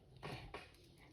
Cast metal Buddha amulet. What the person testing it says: มีเสียงกริ่งอยู่ด้านในนะคะพี่เคาะแล้วได้ยิน